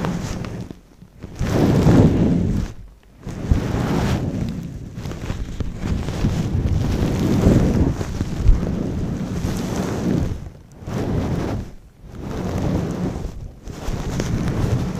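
A long-pile brown faux fur windscreen over a microphone is squeezed and rubbed with fingers and knuckles and stroked with long nails. This gives deep, muffled rumbling and rustling that swells in long bursts, mostly low bass with almost no high end, broken by brief near-silent gaps.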